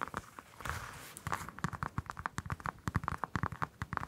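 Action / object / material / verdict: tap / whole orange, citrus peel / citrus peel / none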